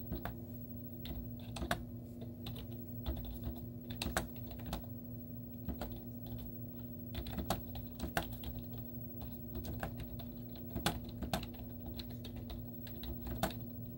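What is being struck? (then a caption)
Plastic laptop keyboard. Long teal-painted nails and fingertips type rapidly on a white plastic laptop keyboard with cartoon stickers on its hollow keys. The result is a stream of quick, light, hollow clicks and taps with brief bright nail ticks, over a steady low hum.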